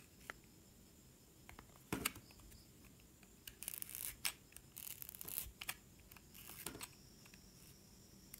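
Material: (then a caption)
Soap. A metal utility knife blade slices thin strips off a solid blue-and-red bar of soap held in the hand. The result is quiet, bright scraping and shaving sounds in short bursts, broken by sharp clicks and a few louder cutting strokes.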